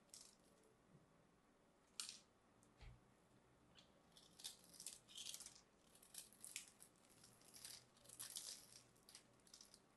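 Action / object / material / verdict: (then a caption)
scrape / bar of soap / soap / none. A small knife blade carves and scrapes a palm-sized solid cream bar of soap stamped with a logo, while crumbly pieces fall off. Soft, bright crackling scrapes come in irregular bursts, with a sharper snap near the two-second mark.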